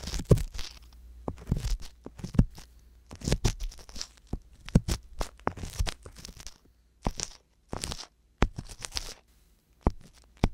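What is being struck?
Silicone ear of a binaural microphone.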